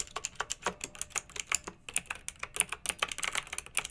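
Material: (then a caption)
Plastic. Two hands type with their fingertips on a pink backlit, typewriter-style plastic mechanical keyboard with round metal-rimmed keycaps. A rapid, steady stream of short, bright clicks and clacks fills the clip, each keystroke sharp and quickly fading, with very little low end.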